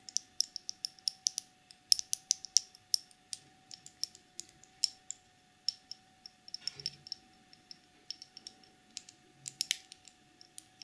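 Long nails tap and scratch a small clear plastic cosmetic jar with a black screw lid, full of gold loose glitter, hitting both the jar and the lid. Dozens of quick, bright, dry clicks come in irregular bursts, with occasional short scratches and a faint steady hum underneath.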